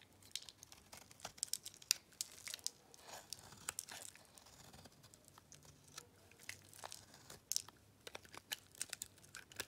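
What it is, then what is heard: Dry bar soap being carved into flakes. A metal blade carves and scrapes crunchy, layered flakes from a dry, solid cream bar soap. Quiet, bright crackling and tearing crunches come in quick, uneven bursts with sharp, short snaps and almost no low end.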